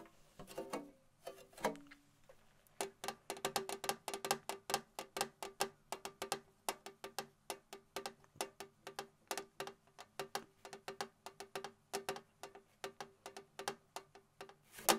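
Long nails tap and scratch the lid of a hollow, rectangular printed metal tin with red plaid sides, held in both hands. Rapid, dry, clicking taps with a hollow tone around 785 Hz and a bright edge die away almost instantly, broken by a few brief scratching passes.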